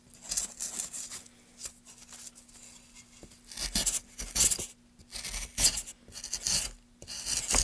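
A solid, light wooden board held in gloved hands is cut and scraped by a metal gouge. Repeated short, bright, rasping scrapes and shaving sounds come in bursts, with a faint steady low hum underneath.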